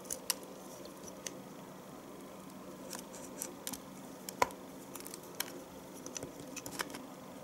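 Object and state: Bar of household soap being shaved.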